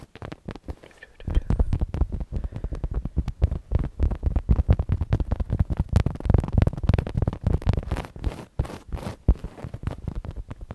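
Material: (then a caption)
Fabric. Long nails scratch and tap a soft, stuffed black fabric "BOO" throw pillow with a spiderweb print. The result is a dense run of quick, muffled low thumps and scuffs with almost no brightness, starting sparse and quiet, then quickly becoming a steady, busy patter.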